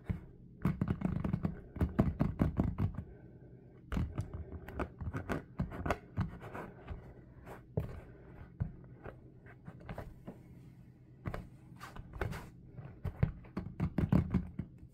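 A small, dark SpongeBob-printed ball, probably hollow rubber, is held in both hands and tapped quickly with the fingertips. Bursts of fast, dull, low thuds come in clusters separated by brief quieter pauses, with faint scratchy contact sounds between the taps.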